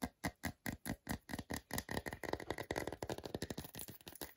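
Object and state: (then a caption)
Milk chocolate bar. Fingernails tap and scratch across the front segments of a whole segmented milk chocolate bar held in the hand. Short, dry, muffled taps come in a steady string at first, then run together into a denser scratching flurry before quick taps return, each sound dying almost instantly.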